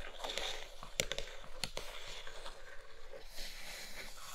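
Long nails scratch and tap the inner floor of an empty brown kraft cardboard box tray. Soft, dry scratching rasps run throughout, punctuated by sharper taps that stand out around one second and just after one and a half seconds.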